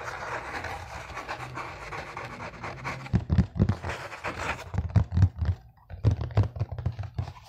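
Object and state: Cardboard box.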